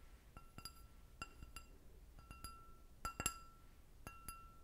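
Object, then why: Glass goblet with a short stem. An empty clear glass goblet with a short stem is tapped with long red nails in a series of light, irregular clinks, some coming in quick pairs. Each tap gives a sharp, bright glassy ping that rings on as a steady tone near 1.3 kHz with shimmering high overtones, fading between taps against a quiet low background hum.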